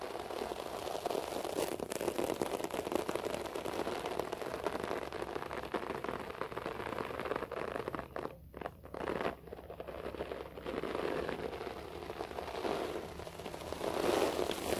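Fingertips and nails scratch a beige short-pile floor carpet close up, making a steady dense crackling, rustling texture centered in the low mids with fine bright fibrous detail. The scratching runs continuously with brief quieter gaps in the middle and grows slightly louder toward the end.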